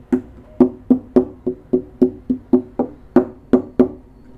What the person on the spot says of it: there's more like variation to the sound of it. So like there's bass